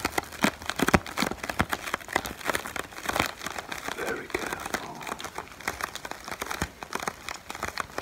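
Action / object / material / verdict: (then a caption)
scrape / plastic air pillow packaging film / plastic film / none. A small, clear, inflated plastic-film air pillow from packaging is held close in the hand while the fingertips crinkle and rub the film. This produces a dense run of sharp, dry crackles and crinkles with bright, hissy highs. The crackles come in irregular bursts of varying loudness across the clip.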